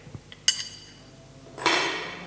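A hammer strikes a piece of iron twice, producing two sharp, bright metallic clinks with a high ringing tone that fades quickly. The iron is unharmed by the strikes.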